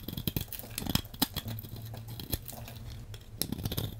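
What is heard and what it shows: A metal blade cuts and scrapes a hand-sized solid blue bar of soap, sending crumbly shavings falling off. Soft, scratchy scraping runs under a series of crisp, bright clicks and low, dull taps as the blade bites in and pieces drop.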